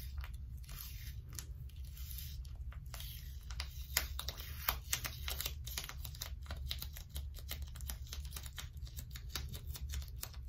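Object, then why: Crumpled wad of plastic sticky tape. Long stiletto nails pinch, peel and rub the sticky strips of a small crumpled wad of blue plastic sticky tape held up close. Dense, crackly tearing and sticky peeling snaps with bright edges repeat quickly over a steady low rumble.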